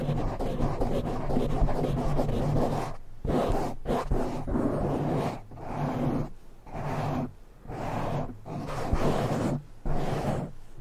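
Fingertips and nails of both hands scratch fast at a black foam windscreen on a silver microphone. The result is a dense, rumbling, low-heavy scratching roar that runs in long bursts broken by brief silent gaps.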